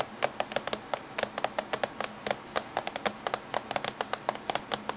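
Fingertips and medium-length natural nails tap rapidly along the top surface and edge of a closed-looking, hollow silver plastic laptop with USB and VGA ports on its back edge. The result is a quick, uneven run of short, dry clicks, each with a bright edge and a light mid-toned knock. The taps fade almost instantly, sounding much like typing.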